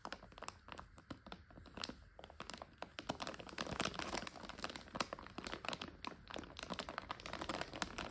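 A full plastic egg noodle bag is held in both hands while long nails crinkle and scratch the plastic. The result is a dense run of sharp, bright crackles and crinkles that gradually grow louder.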